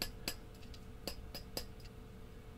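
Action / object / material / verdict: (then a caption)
tap / glass vacuum tube / glass / none. A glass vacuum tube that has just tested okay on a B&K Model 606 Dyna-Jet tube tester is tapped several times with a finger to check for rattling from loose internals. Each tap gives a short, bright glassy click that dies away almost at once, over a steady low hum.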